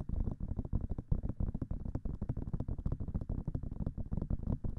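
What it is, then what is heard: Silicone microphone ear being tapped. Long fingernails rapidly tap the silicone ears of a binaural microphone, producing a dense stream of soft, muffled, low thuds with almost no bright content. The taps blur into a continuous patter rather than standing apart as distinct hits.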